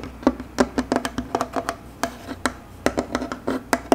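Fingertips and short nails tap and scratch across a flat, solid bamboo tabletop and its round wooden rail. The result is a run of quick, dry, hollow knocks centered around 266 Hz, each dying away almost instantly, with faint scratching in the quiet gaps between them.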